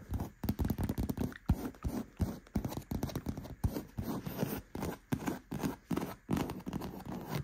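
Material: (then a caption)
Faux leather. Fingertips and nails scratch and rub across the padded, soft seat of a black stitched faux-leather gaming chair with white trim. Quick, irregular bursts of dull, low scraping and rubbing follow one another without ringing, with little high-end content.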